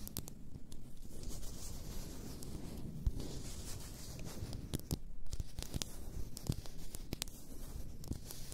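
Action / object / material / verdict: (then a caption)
scrape / glass bottle of bath salts / glass / none. Long nails scratch and tap the glass sides of an upright, full glass bath salt bottle. Continuous dry, rasping scratches run under scattered sharp, quick taps. The sound is quiet, close and mostly low, with bright clicks on each tap.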